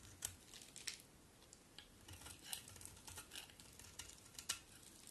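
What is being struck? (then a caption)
Bar of soap. A solid cream bar of soap is held in the hand and scraped with a utility knife blade, with chunks and curls breaking off. Quiet, bright scraping and crackling is heard, punctuated by short, sharp clicks as pieces snap away.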